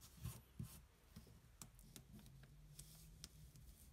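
The edge of a coin scratches a thin, flat cardboard scratch-off lottery ticket held flat on a table. Quiet, irregular scraping strokes give brief, bright, crisp ticks over a soft, steady low hum.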